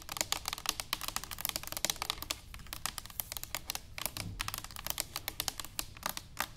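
An upright, hollow stainless steel cylinder canister is tapped quickly and continuously with long nails and fingertips. The result is a rapid, uneven stream of sharp, bright, clicky taps that die away almost instantly, with little low end and a quiet overall level.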